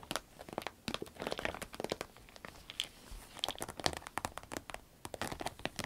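Long red nails scratch, tap and squeeze a small, hollow, apparently empty cylindrical green vinyl zip pencil case. The result is a quiet, dry stream of crinkly, crackling taps and scrapes with a bright edge and no ring, like a rapid patter.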